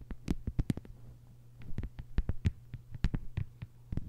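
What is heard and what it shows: A thin, flat green plastic cutting board lying on a table is tapped and scratched with the long white nails of both hands. The result is a quick, uneven run of short, dull clicks that die away almost instantly, over a steady low hum.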